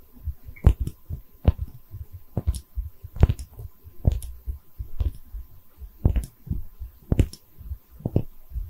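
Long red nails tap and scratch the body of a small, cream-colored, hollow, textured porcelain liquor bottle held in both hands. Crisp, short clicks with bright tips stand out over a soft, low, muffled thumping and light scratching, and each tap dies away almost at once with no ring.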